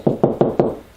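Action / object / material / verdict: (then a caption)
knock / drywall wall / drywall / hollow. Four evenly spaced knocks on a drywall wall give hollow, low-pitched thuds with a brief resonant tone and little high-frequency content. Each knock decays quickly, showing a hollow spot in the drywall between the studs.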